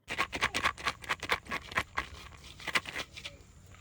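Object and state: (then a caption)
Dry birdhouse gourd, seeds rattle when shaken. A dried birdhouse gourd is shaken, and the seeds inside rattle in quick, uneven bursts of dry, bright clicks that fade toward the end. The rattle shows the gourd is fully dry and ready.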